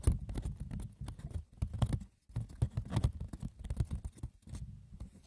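Fingers scratch and tap the rough, textured woven surface of a wicker basket, with no talking. It makes a dense patter of light, dry clicks and scratches with a low, muffled body and bright crisp edges, broken by a short pause near the middle.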